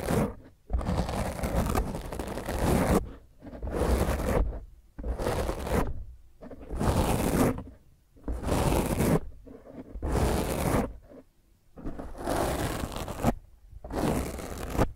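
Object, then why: Foam microphone windscreen. Long fingernails of both hands scratch and grip a black foam microphone windscreen in repeated rough bursts of one to two seconds, separated by brief silences. Each burst is a dense, crackling scrape with heavy low-end rumble from the foam pressing against the microphone.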